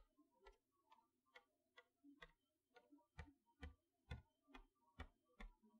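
A long fingernail taps letter by letter across the plastic window on the front of a cardboard toy box holding a chalkboard set, in a steady ticking rhythm. Thirteen quiet, short taps are heard, each a dull low thud topped with a brief bright click that dies away almost instantly.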